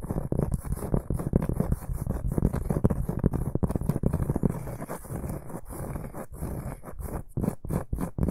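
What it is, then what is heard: Round cork board. A large, solid, round flat cork board or trivet is held upright in both hands and scratched with the fingertips and short nails of both hands. A steady stream of dense, dry, low scratching and rubbing comes through, with quick short strokes that ease off briefly before picking up again near the end.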